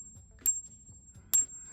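Genuine 40% silver Eisenhower dollar coins are dropped and clinked together as a comparison to fake coins, denting them slightly in the process. Two bright metallic clinks ring out with a high, clear tone that sustains briefly after each strike, the sound of real silver.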